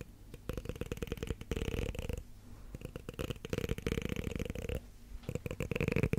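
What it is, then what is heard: Plastic comb scraped along its teeth. Long black nails scratch along the teeth of a solid, light blue plastic comb held close to the microphone. Three passes of rapid, ratcheting clicks merge into a low, buzzy rasp with a steady hum-like tone, separated by short quiet gaps. The last pass grows a little louder.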